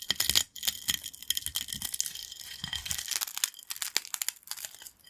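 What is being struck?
Corn snack chips.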